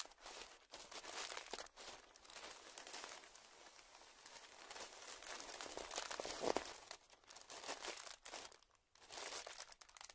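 A small, puffed-up clear plastic zip-lock bag lying on dark fabric is pressed flat by hands and crinkled with the fingers. The result is a dense, bright, continuous crinkling and crackling with almost no low end, broken by a few brief pauses.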